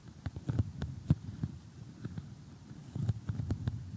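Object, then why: Cardboard jigsaw puzzle. Painted fingernails tap and scratch across an assembled glossy cardboard jigsaw puzzle made of thin, flat pieces. The quiet taps are dull, low and clicky, each dying away almost instantly, with soft scratching between them over a faint low hum.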